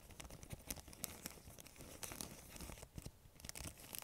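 Long nails crinkle, stretch and scratch a thin, empty, clear transparent plastic bag. The result is a steady stream of quiet, dense crackles and scratchy rustles with sharp bright snaps scattered throughout.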